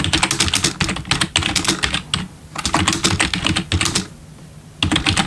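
Bare fingertips of both hands type on a full-size black plastic membrane gaming keyboard with RGB backlit keys, resting on a wooden desk. Rapid bursts of bright, clattery key taps with soft low thuds beneath are broken by two brief quiet pauses before the typing resumes.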